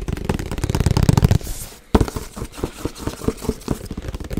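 A printed cardboard Yeti box with icon panels, held in both hands, is tapped with fingertips and nails. A fast, dense run of low, hollow drumming fills the first second and a half, then a brief quieter pause. A sharp tap follows, and then scattered, crisp taps and knocks continue to the end.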